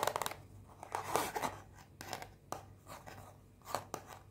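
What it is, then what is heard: Cardboard perfume box. Long painted fingernails tap and scratch a small white rectangular cardboard perfume box, unwrapped and still closed. A rapid run of crisp, bright taps gives way to dry, papery scratching bursts and sharp clicks that stop quickly with little ring.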